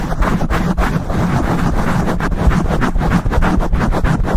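Fingertips with short nails rapidly scratch a black foam windscreen on a microphone. The result is a dense, continuous, muffled rumble of fast scuffing strokes, heavy in the low end with almost no bright content.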